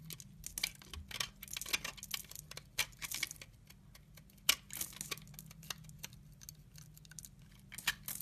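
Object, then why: Bar of laundry soap shaved with a blade. A utility knife blade shaves crumbly chips from the edge of a solid brown laundry soap bar held in the hand. A quick series of dry, bright scraping and crackling bursts comes through, with crisp, instantly decaying peaks over a faint low steady hum.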